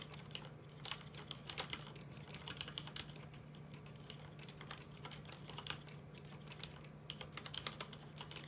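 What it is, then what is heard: Plastic mechanical keyboard. Both hands tap with their fingertips on a full-size black plastic mechanical computer keyboard with red keycaps. The result is a quiet, steady run of short, bright clicks with brief louder clusters, over a constant low hum.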